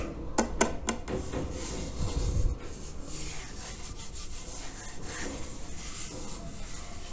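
Fingertips and nails scratch and rub the unglazed body of a large, hollow terracotta clay water filter around its label. Four quick, sharp scratches open the clip, followed by a steady, gritty rasping rub with a low, hollow rumble that fades into softer, continuous scraping.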